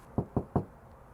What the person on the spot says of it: although it sounds like plastic, steel